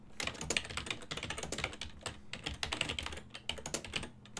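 Fingertips type steadily on a full-size silver-and-black plastic desktop keyboard with hollow key switches. The result is a continuous run of quick, bright, hollow clacks that stop almost instantly, over a faint steady low hum.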